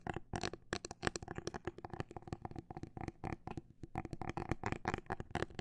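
Long black nails tap along the rigid plastic shell of a clear plastic liquid-glitter phone case with a grip, held horizontally. The result is a quiet stream of short, dry clicks and soft knocks, some quick and clustered, others slower and spaced apart, with a low body and little ring.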